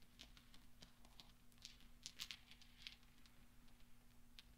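Hands sweep and roll small solid steel pachinko balls together on velvet. The result is a quiet, scattered patter of light, bright metallic clicks and soft rolling ticks over a faint, steady low hum.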